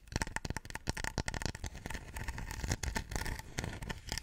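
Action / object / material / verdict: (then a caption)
tap / small stone warrior figurine / stone / none. A small Chinese terracotta-style stone warrior statue, roughly forearm length and solid-looking, is held in both hands and scratched and tapped with long nails and fingertips. A rapid, dense run of dry taps and scraping scratches is heard, with a low thud under each contact and brief bright edges. Every hit stops at once, with no ringing.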